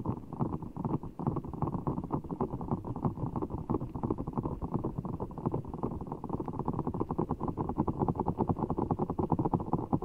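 Fingertips squeeze and scratch a large, soft, full ball of blue water gel beads in a clear rubber skin, held over the mic. A dense, continuous stream of short, muffled squishing and scratchy ticks fills the clip, heavy in the low and middle range with no bright top. The texture stays steady throughout at a moderate level.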